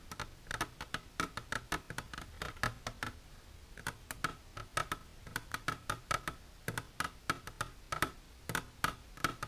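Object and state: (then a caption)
Empty hard plastic container. Long silver nails tap and scratch the sides of an empty, transparent hard plastic container standing upright. About forty quick, sharp clicks come in an uneven rhythm, each with a short hollow ring near 1.3 kHz and a bright edge, and a faint scratchy rustle runs between them.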